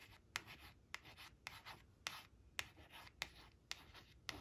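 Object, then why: Laminated cardboard card. Long acrylic nail tips trace and scratch the sunflowers on a thin, flat laminated cardstock flash card resting on a woven cloth. Soft, bright scratchy rubbing is punctuated by sharp, crisp clicks of the nails striking the card at an irregular, unhurried pace. The sound is quiet and close, with little low end.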